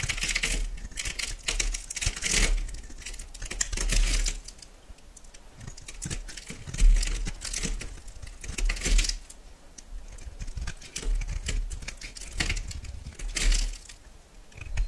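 A solid white soap bar is held in the hand and carved into chunks with a metal knife. Dense bursts of crisp, bright scraping and cutting clicks come in waves, with quieter gaps between them and a steady low rumble underneath.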